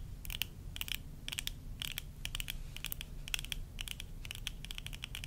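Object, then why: Plastic eyeglass frames. Long nails scratch and tap the rims of worn tortoiseshell plastic eyeglasses, making quick, sharp, bright clicks in irregular clusters over a steady low rumble. Each tap is dry and dies away almost instantly, with a faint tone near 2.7 kHz.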